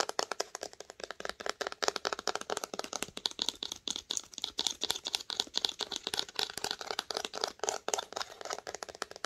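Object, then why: Cloth-bound hardcover book spine. Long nails rapidly tap and scratch the cloth spine of a red cloth-bound hardcover book held on its side. The sound is a dense run of dry, sharp clicks with bright scratchy texture, little low end and almost no ring after each tap.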